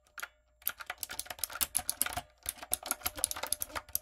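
Fingertips with long coffin nails type rapidly on a typewriter-style backlit mechanical keyboard with round brown plastic keycaps on a dark frame. Quick, bright, clicky key taps run in bursts with brief pauses, each tap dry with almost no ring.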